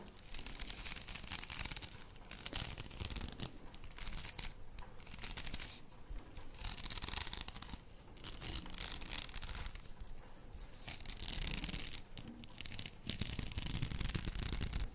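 Long nails scratch and rub across the rows of beads on a plastic faux pearl padded headband held up close. The result is a steady, dense crackling and scraping texture with bright, gritty detail over a heavy low rumble, swelling and easing in waves without clear pauses.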